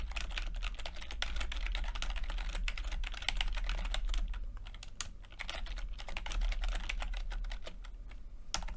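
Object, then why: Plastic computer keyboard keys. Fingertips tap the plastic keycaps of a backlit chiclet computer keyboard while typing, making a quick, irregular stream of short, bright clicks. The clicks sit over a steady low rumble and ease briefly around the five-second mark before the typing picks back up.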